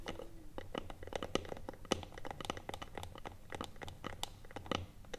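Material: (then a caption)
Wood. Long nails tap and scratch the top of a small, hollow, closed rectangular wooden box with a metal clasp, sitting on a table. Quick, irregular, dry clicks mix with crackly scratching, each tap dying away almost instantly over a low, steady hum.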